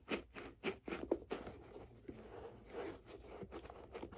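Long nails scratch and tap along the leather side and laces of a single hand-held white leather figure skate with a blue blade guard. The hollow boot gives soft, dry scrapes and a series of light taps, louder and more separate at first, then settling into a steadier, quieter scratching.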